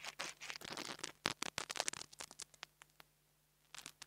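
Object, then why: Metal mesh grille of a small clip-on microphone. The tip of a metal nail art tool taps and scratches the metal grille top of a small black plastic clip-on mini lavalier microphone held in fingers with long nails. Dense, bright, crackly scratching fills the first two seconds, then thins into sparse, sharp ticks. After a short quiet pause, a few more quick taps close the clip.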